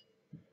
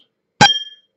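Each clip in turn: First: glass of fresh tap water, dull (dissolved gases). Second: glass of boiled, degassed water with a clear ring.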